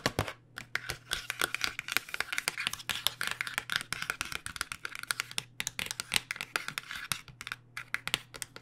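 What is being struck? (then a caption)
Flat cardboard box. Long nails tap and scratch the front and edge of a flat cardboard box of acrylic paint pens, held tilted. Rapid, dry, bright clicks and scratchy rasps come in an irregular, continuous stream, each dying away almost instantly. A faint steady low hum sits underneath.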